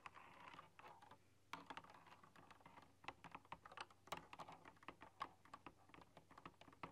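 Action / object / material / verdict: tap / computer keyboard with round metal-rimmed keycaps / plastic, metal / none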